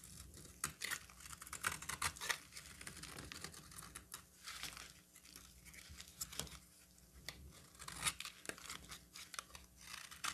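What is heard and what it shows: A solid orange bar of soap, held in the hand, is scraped and carved with a utility knife. Quiet, bright, crackly scraping runs throughout, broken by many short, crisp cuts and flakes with little low end.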